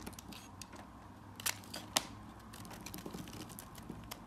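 A blade slices and scrapes thin shavings from a solid orange-yellow bar of soap held in the hand. Soft, crisp, bright scraping runs throughout at a low level, broken by two sharper, louder snaps of the cut.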